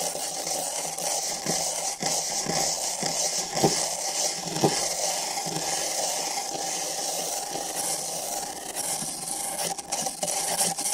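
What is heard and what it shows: Thin nylon bristle brushes on long sticks scrape the surfaces of two identical empty printed paper cups set over microphone ears. The result is a steady, bright, hissy scratching texture with a papery midrange rustle and occasional sharper, louder strokes standing out from the continuous brushing.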